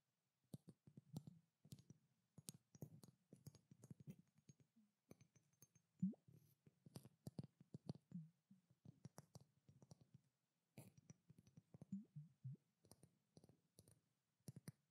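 Long black nails tap and lightly scratch a pink, curved glass perfume bottle with a silver cap. The result is a quiet, steady stream of soft clicking taps with a low, dull body and faint bright ticks, each dying away almost at once, broken by short pauses.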